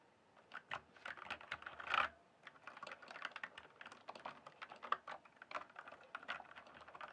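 Both hands type with their fingertips on a full-size backlit plastic mechanical keyboard with a hollow case. The result is a fast, uneven run of dry, short clicks and clacks, centered in the mids with some bright edge. One louder, broader clack stands out near the two-second mark, followed by a brief pause before steady typing resumes.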